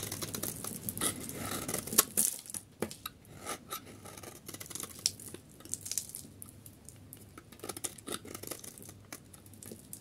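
A solid oval yellow bar of dry soap, held in one hand, is shaved with a metal utility knife blade, scraping crumbly flakes off over a marble surface. The sound is a run of dry, bright scraping and crackling strokes, some sharp and clicky, with short gaps between them.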